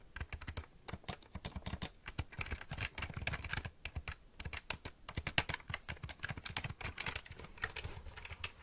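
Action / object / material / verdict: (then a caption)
tap / plastic computer keyboard / plastic / none. A full-size black plastic keyboard with a hollow body is held upright near the microphone while fingertips and nails press and tap its plastic keys. Dozens of quick, irregular clicks and clacks come in bursts, each short and dry with a low hollow thump under a bright tick.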